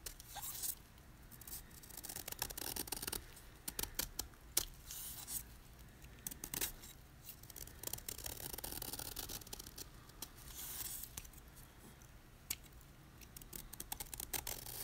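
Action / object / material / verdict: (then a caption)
scrape / magnesium carbonate chalk block / chalk / none. A utility knife with a red handle repeatedly scrapes the edge of a solid white gym chalk block of magnesium carbonate held in the hand. It makes crisp, dry shaving sounds: bright scraping bursts with sharp clicks that die away at once. Between strokes, a quiet low rumble remains.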